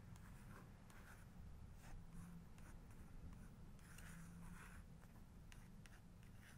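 Long acrylic nails trace and tap over a printed photo on the right page of a large open hardcover photography book with glossy paper pages. The quiet clip carries soft, dry scratching strokes and light taps in brief bright bursts over a steady low rumble.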